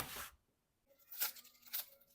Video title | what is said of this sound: Съели за 10 минут! Домашние Турецкие Бёреки с картофельной начинкой! Узбекская Самса | Ecco come dovrebbe essere croccante l'impasto perfetto per una samsa uzbeka.